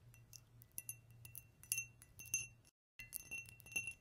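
Light taps on a vintage ridged drinking glass, one of a set of nine bought secondhand from a grandmother's estate, give bright, short glass clinks. The clinks ring near 2.7 kHz and come at an irregular pace, with a brief silent gap partway through.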